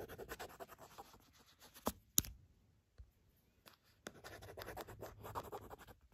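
Long pointed black nails scratch across the printed surface of a small, thin, flat gold-printed cardboard sandalwood incense package, held and then lying on a fluffy rug. Dry, bright, rapid scratching rasps in uneven strokes, broken by a brief quiet stretch with a few sharp clicks before the scratching resumes.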